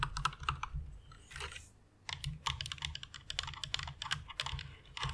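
Both hands with long red nails type with their fingertips on a full-size white plastic mechanical keyboard with RGB backlight, resting on a pink fluffy pad. The keys give bright, crisp clicks with a low thock beneath, in quick bursts. A short pause with a soft brushing sound falls near the middle before the typing resumes.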